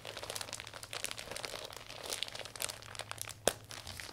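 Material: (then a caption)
Vinyl plastic. A closed, thin iridescent vinyl umbrella with a hollow folded canopy is handled and unfurled by fingertips. The plastic gives a continuous bright crinkling rub and squeeze, with a sharper crackle near the end.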